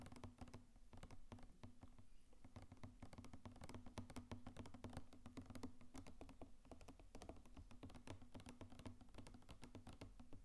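Fingertips tap rapidly on the sides of a medium blue plastic mouthwash bottle with a white cap, hollow and filled with liquid, held close to the mic, before it is tilted toward the mic. A quiet, steady stream of dense, short, dull tapping clicks rides over a low hum around 250 Hz, with most of the energy in the low end.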